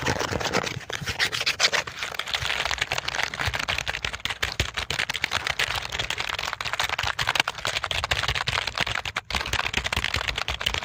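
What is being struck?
Plastic computer keyboard.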